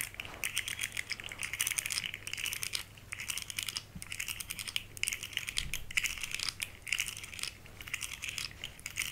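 Long nails tap and scratch along the segments of a small, rainbow-colored, hollow, segmented plastic articulated fidget slug toy as it is flexed in the hands. Dense, rapid, bright plastic clicks and scratchy rattles come in uneven bursts, each tick dying away almost instantly, over a faint, steady low hum.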